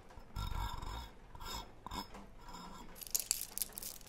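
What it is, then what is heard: Metal tin can. A brush-like tool scratches and taps the gold lid of a hollow, green cylindrical metal tin held close to the microphone. Soft rasping scrapes with low, dull rumbles come first, then a series of sharp, bright metallic ticks toward the end.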